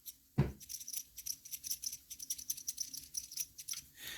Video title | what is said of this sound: Newest Build Completed... | You can hear the spoon. It does scrape up against the case a little bit.